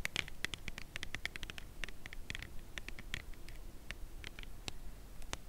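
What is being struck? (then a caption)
Slim cardboard chocolate bar box tapped with fingernails. A full, slim cardboard Lindt chocolate bar box is held edge-on and tapped along its edge with long acrylic nails. The taps are quick, dry and bright clicks with no ring, in an irregular, steady patter over a low background rumble.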